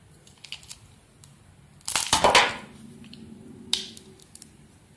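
A bright green solid soap bar with embossed lettering, held in the hand, is carved with a small metal blade that exposes white soap underneath. Faint scraping ticks lead into a dense burst of crunchy, crumbly cutting that rises and fades, followed by a sharp single click and a few soft scrapes. The sound is bright and crisp, with almost no low end.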